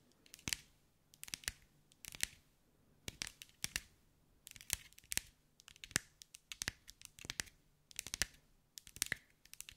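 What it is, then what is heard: Glass mosaic ball. Long white acrylic nails tap and scratch over a hand-sized sphere covered in small green mirrored glass mosaic tiles, held in the hands. Quick bursts of sharp, bright clicks and scrapes come in clusters with very little low end. Each tap dies away almost instantly into near silence.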